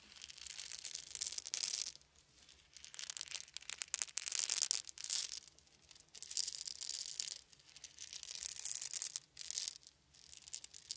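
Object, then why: Small wooden beads shaken in cupped hands. A handful of small round wooden beads is rolled and shaken in cupped hands, giving five soft bursts of bright, dry clicking and rattling separated by short quiet pauses. The sound is quiet and almost entirely high-pitched, with no low end and no ringing after each click.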